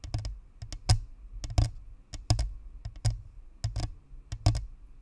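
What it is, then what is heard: Plastic ball microphone tapped with fingernails. Long nails on both hands tap around the top and sides of a white spherical Blue Snowball microphone with a hollow plastic shell and perforated metal grille. The taps come in quick, irregular clusters of sharp clicks with a bright edge over a low, hollow thump that dies away quickly.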